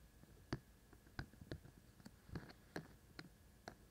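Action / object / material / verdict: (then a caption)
tap / silicone ears of a binaural microphone / silicone / none. Fingertips from both hands tap the white silicone ears of a binaural microphone, making soft, dull low thumps with brief clicky edges. The taps are quiet and die away almost instantly. They are spaced irregularly over a faint steady hiss.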